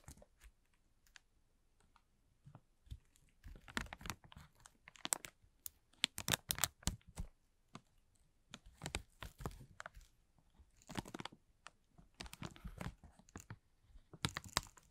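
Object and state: Crinkled plastic film bag.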